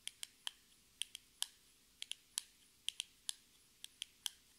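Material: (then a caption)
Cardboard. Long red nails tap a small, hollow, rectangular metallic-pink cardboard cosmetic box, making about fifteen sharp, dry clicks at an unhurried, uneven pace. Each tap is bright and brief, centred around 3.2 kHz with no low-end body. The taps die away almost instantly over a faint background hiss.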